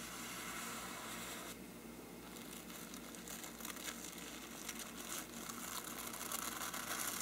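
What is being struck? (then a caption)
Faux-parchment paper lampshade. A small brush pinched between the fingers scratches and flicks against the side of a hollow faux-parchment paper lampshade. It makes a steady, dry, bright crackling rustle with a slightly softer stretch near the start and small sharper flicks throughout.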